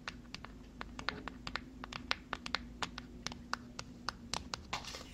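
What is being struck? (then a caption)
Small cardboard box. Long fingernails tap and scratch on a small white cardboard box, producing a quick, irregular series of short, dry, bright clicks that stop instantly with no ring. A softer scratching rustle comes near the end, over a faint steady low hum.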